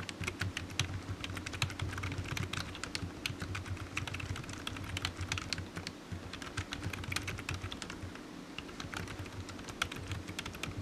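One hand types with its fingertips on a low-profile black plastic computer keyboard with hollow keys, resting on a patterned desk mat. A rapid, continuous stream of light, bright, clicky taps runs throughout, each one short and dry. A steady low hum sits underneath.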